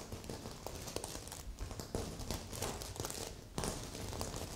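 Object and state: Sequin fabric pillow.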